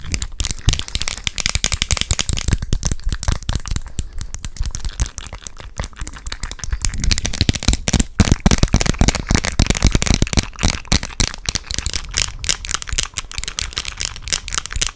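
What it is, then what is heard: Plastic sunglasses frame. Long decorated acrylic nails tap and scratch the small, thin, hollow-ish clear plastic frame of pink tinted sunglasses held in front of the face close to the microphone. The result is a dense, irregular stream of sharp, bright plastic clicks and scratchy rasps over a low, boomy close-mic rumble.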